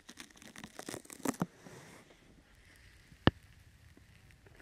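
A sticky brown open-weave foam rubber grip mat is draped over a microphone while hands with long nails pat, scratch and grip its sides. Close, crackling scratches and soft tearing crinkles fill the first two seconds, followed by a near-silent stretch broken by one sharp, dry tap.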